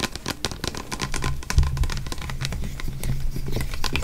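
Fingernails tap and scratch a tall "Naturals" body spray bottle with a white sprayer, apparently plastic and full of amber liquid, moving over both the bottle and its label. Quick, crisp clicks and scratchy rasps come in a steady run over a low, dull hum, with one heavier thump near the middle.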